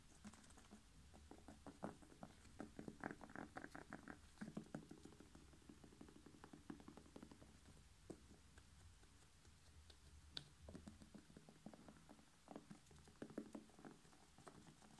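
A whole red bell pepper, hollow with a glossy skin, is tapped quickly with fingertips and nails. The result is a quiet, steady patter of short, dry taps with a hollow low-mid thump, coming in denser bursts at times.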